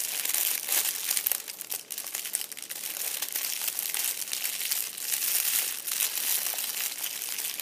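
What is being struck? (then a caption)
Metallic foil crinkle ball. A fist-sized purple metallic foil crinkle ball rests on an upholstered seat as fingers and a palm press, squeeze and rub it. The sound is a dense, continuous bright crinkling with sharp crackles, almost no low end, and a steady moderate level that dips briefly near the two-second mark.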